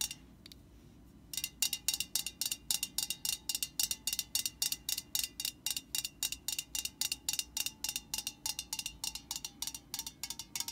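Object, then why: Metal aerosol spray can. Long nails tap rapidly on the metal body of an upright aerosol spray can, making a steady run of bright, short clicks with a faint metallic ring near 2.8 kHz. After about a second of quiet, the taps come roughly three to four per second, each dying away almost instantly.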